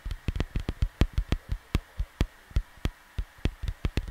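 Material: Cardboard.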